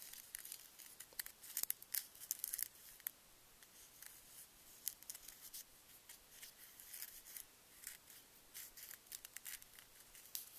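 A single small Reese's miniature peanut butter cup, wrapped in metallic foil over a paper cup with solid chocolate inside, is held between fingertips with long nails in front of the candy bag while the nails crinkle and scratch the foil. Quiet, bright crinkling and fine scratching are broken by sharp, dry ticks and short bursts, with almost no low end.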